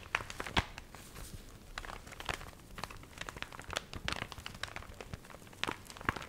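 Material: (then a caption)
Paper. A small, water-wrinkled paper recipe booklet is held in both hands while its cover and pages are crinkled and flexed with long nails. The result is a steady run of dry, crackly crinkling with quick, bright snaps that die away almost instantly. A few louder crunches stand out.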